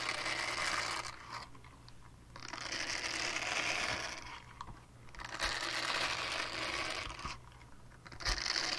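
Long painted nails scratch a small, flat, solid purple silicone scrubber pad with a hanging loop while it is held up. The result is bright, crinkly scratching in long swells that fade into quieter gaps before starting again.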